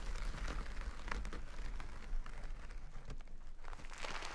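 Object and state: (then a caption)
Burlap bag of rice. A full jute burlap bag of rice is scratched with long nails, then held upright and squeezed so the rice inside crunches. The result is a dense, continuous texture of rough scratching and grainy crackling with a heavy low rumble underneath and brief brighter rasps scattered throughout.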